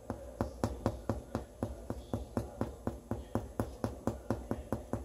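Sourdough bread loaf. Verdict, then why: Baked through. A fingernail taps the bottom of a fully baked sourdough loaf 21 times in a steady rhythm, about two taps per second. Each tap is a short, dull, low thud that dies away almost at once, which shows the loaf is baked through.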